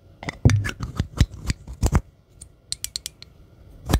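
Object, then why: Small metal spray can. Long green acrylic nails tap and scratch along the body of a small, hollow, gold metallic spray can or bottle with a white label and a silver cap, held in the hand close to the microphone. About fifteen uneven taps each give a short, dull, low knock with a bright clicky edge from the nail tips, and faint scratches fill the gaps between them.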